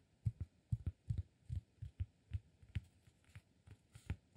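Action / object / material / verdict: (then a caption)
tap / flat cork disk / cork / none. Fingertips tap and scratch a round, flat, solid cork disk held in one hand. Sixteen soft, dull, low thumps come at an uneven pace of about two per second, each dying away almost instantly, with faint scratchy texture between them.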